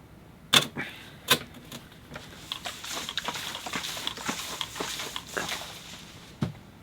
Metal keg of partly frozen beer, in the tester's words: give it a shake can you hear that it sounds really slushy